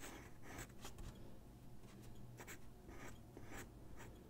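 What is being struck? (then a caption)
Graphite pencil on a paper sheet over a wooden desk. A graphite pencil makes drawing strokes on a single white sheet of drawing paper resting on a wooden desk. Short, bright scratching bursts repeat at an uneven pace over a steady low, soft background.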